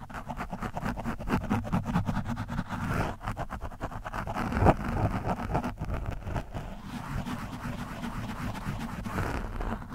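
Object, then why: Foam microphone windscreen scratched with a metal screwdriver tip. The tip of a screwdriver scratches an orange foam windscreen on a microphone, making a dense, rapid run of rough, crackling scrapes. The sound is heavy in the low end, with a steady rumbling body and little high content. One stroke stands out louder near the middle.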